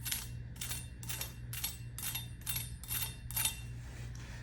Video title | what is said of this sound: These Egg Rolls will SAVE Thanksgiving!! | If that's not crispy, I don't know what else is